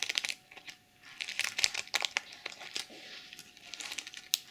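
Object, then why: Fabric pouch covered in plastic sequins. Long chrome nails tap and scratch across a small zippered pouch covered in pink plastic sequins. The result is a quick run of bright, crinkly clicks and scrapes with almost no low end. Each tick stops dead with no ring.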